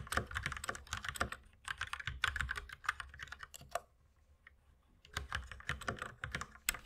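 Two hands type rapidly with their fingertips on a white mechanical keyboard with plastic keycaps while the mouse stays idle. Dense, bright, clacky keystrokes with a soft low thud beneath them rattle along in quick bursts, then stop for about a second before resuming. Each click dies away almost instantly.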